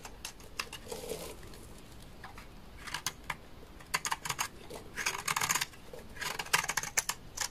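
A utility knife blade scrapes a large, solid, dry beige laundry soap bar with stamped lettering. The result is a series of short, crisp, bright scraping bursts in uneven clusters, each dying away almost at once, with quieter pauses between them.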